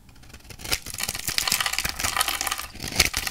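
A metal utility knife blade cuts and scrapes a hand-sized, dry, orange-striped bar of solid soap held in one hand, shaving it into slices and crumbs. The result is a dense run of bright, crisp, crackling scrapes and short dry snaps with very little low end, building from quiet to moderately loud.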